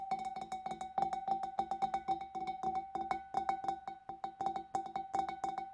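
Long dark nails tap rapidly on the side of the neck and the rim of a large, empty, clear glass fish bowl. The hollow bowl answers each quick tap with a clear, steady glassy tone near 780 Hz and a bright click, and each tap rings only briefly.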